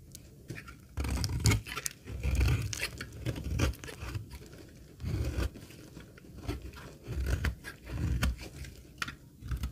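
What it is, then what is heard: Dry laundry soap bar being scraped. A metal utility blade scrapes the edge of a solid, dry green laundry soap bar held in the hand, shaving off crumbly pieces. Repeated rough, dry scraping strokes come in bursts, with a heavy low rumble and faint bright crackle, separated by quieter pauses.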